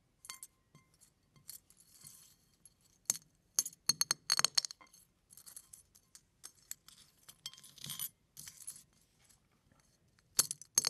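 Fingers press down on large pieces of brown eggshell with white lining resting on a pile of eggshell flakes, cracking them apart. Short bursts of bright, crisp crackling and glassy clinks come in irregular clusters with quiet gaps between them. Several sharper, louder snaps stand out amid the crunching.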